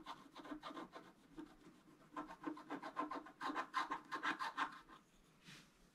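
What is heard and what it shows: A thin wooden stylus held in the fingers scratches and rubs across a flat, black-coated scratch-art card with a fountain design lying on a table. Quick, dry rasping strokes repeat about three times a second, with a midrange scrape around 1 kHz and a bright hiss. The strokes grow louder and denser in the middle, then fade to a last soft rub.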